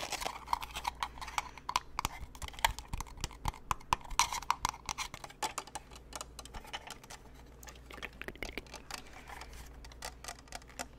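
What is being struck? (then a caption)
Plastic snow globe lantern. A white, hand-height lantern-shaped snow globe with a plastic frame and clear panels around a glittery Santa scene is held in the hands and tapped with fingertips and nails on its frame and panels. Rapid, dry clicks and taps patter unevenly throughout, with brief ringing plastic tones around 900 Hz to 1 kHz over a low steady hum.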